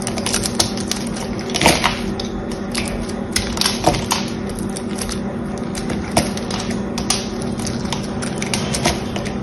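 A small knife scores a grid into a solid green bar of soap with a silver coating, held in the hand, and scrapes its surface. A steady run of crisp, dry scratches and clicks sits over a faint low hum, with sharper, louder strokes standing out every second or two.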